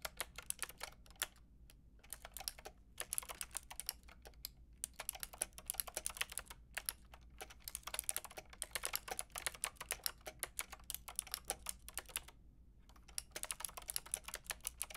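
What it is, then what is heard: Plastic mechanical keyboard. Fingertips with long red nails type rapidly on a Lofree mechanical keyboard with a white plastic case and round pink and grey plastic keycaps. Dense bursts of sharp, bright plastic clicks come in quick runs, separated by short pauses near 1.5, 3, 4.5, 6.5 and 12.5 seconds, over a faint low hum.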